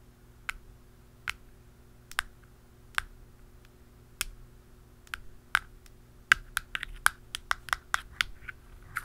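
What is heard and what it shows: The black plastic lid and top of a hollow round canister are tapped with pen tips, using a dark pen and a blue pen. About twenty short, sharp, bright clicks ring out over a faint steady low hum. The taps come sparsely at first, then faster and closer together toward the end.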